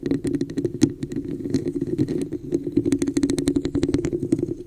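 Long nails tap and scratch the sides of a hollow, textured red plastic cup turned upside down over a microphone. A rapid, uneven run of clicky taps and scratchy strokes rides on a steady hollow low-mid resonance, with bright clicks at each strike.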